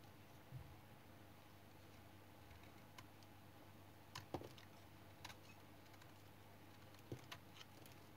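A light brown bar of solid, dried household soap is held in the fingers while a small metal knife blade scrapes and cuts thin shavings off its edge. Soft, scattered scraping clicks and short dry cuts sound over a low steady hum, with a few sharper snaps standing out.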